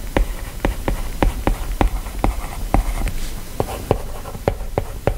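A plastic stylus writes handwriting on the glass screen of an iPad in rubbing strokes, producing fourteen short, dull taps with brief scratchy friction between them. The sound is low-heavy with almost no high content, and each tap dies away almost instantly. At the end a fingertip touches the screen.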